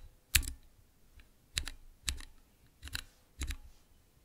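Fingertips press the transparent keycaps on a small clear acrylic Cherry MX mechanical keyboard switch tester. Five presses each give a sharp double clack, one on the way down and one on the return, with a bright top and a low thock beneath. Each stops almost at once, and a faint tick falls between the first two.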